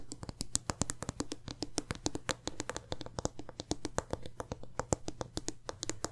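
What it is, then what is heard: Glass candle jar with metal lid. Long nails tap rapidly across the sides, metal lid and bottom of a medium glass candle jar filled with wax. The result is a fast, uneven run of short, bright clicks with dull low thumps beneath. A faint steady low hum runs underneath.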